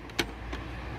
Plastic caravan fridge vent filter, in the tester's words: there's a mysterious tap tap tap